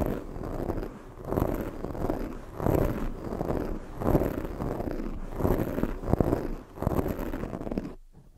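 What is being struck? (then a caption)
Foam microphone windscreen. Long nails scratch a black foam microphone windscreen, then one hand grips and rubs it. The result is a series of swelling, scratchy rustling bursts that rise and fall about once a second, heavy in low rumble with a faint bright hiss. The sound drops to near silence at the end.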